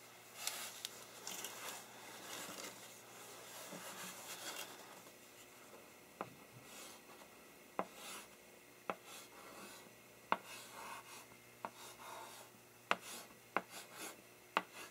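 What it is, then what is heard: Chalk writing on a blackboard. A wood-framed blackboard is tilted at first and then held still by a gloved hand, rustling and scraping with a soft, bright hiss. The other gloved hand then begins writing "Than…" with chalk across the flat board, giving dry scratchy strokes punctuated by a series of sharp, short ticks as the chalk strikes and lifts from the surface.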